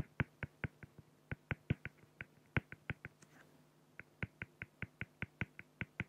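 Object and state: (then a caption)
Felt-tip pen strokes on acrylic sheet. A felt-tip pen makes rapid short strokes on a flat, clear acrylic plexiglass sheet, filling in a drawn beak on the plastic. About 25 crisp, dry taps and scratches come in a quick, even rhythm, each with a bright edge and almost no ring. There is a brief, softer scratchy pause near the middle, and a faint low hum runs underneath throughout.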